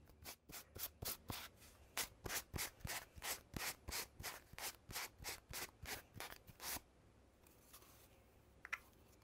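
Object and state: Cardboard tube with metal end caps.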